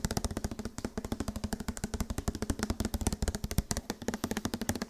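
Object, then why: Plastic body wash bottle. Fast tapping on a plastic body wash bottle produces a rapid run of sharp, dry clicks with a hollow low thump. The taps come quickly and evenly with almost no ring between them.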